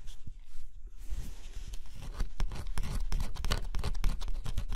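A stylus scratches the black coating on a flat cardboard scratch-off jigsaw puzzle. It makes a steady run of short, dry scraping strokes over a low rumble, getting busier and slightly louder after the first second.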